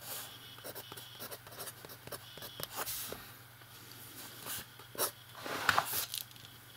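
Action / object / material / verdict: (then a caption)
scrape / fountain pen nib on a paper notebook page / paper / none. A fountain pen nib writes and scratches across the page of an open lined paper notebook. Soft, dry scratchy strokes come in short bursts of bright noise over a faint steady low hum, with a few slightly louder scrapes near the end.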